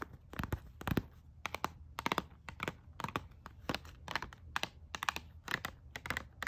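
Long fingernails tap and scratch along a pink plastic hairbrush and comb set sealed in a blister pack, lying on a paper bag. The nails make quick bursts of sharp, bright plastic clicks with faint crinkly scratching between them, each click stopping almost instantly.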